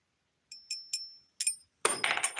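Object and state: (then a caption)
Small silver coin ping. A tiny silver coin, believed to be a half ounce, is given a ping test, producing five short, faint, high-pitched pings followed by a denser burst of ringing clinks. The small piece rings only briefly and weakly, as smaller pieces are harder to ping.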